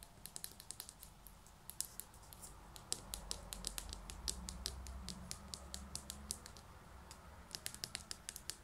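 Long natural nails tap quickly on the side of a small white ceramic pot holding an artificial grass plant, held in both hands. Each tap is a short, bright click with almost no ring, coming in an uneven, rapid series over a faint low rumble.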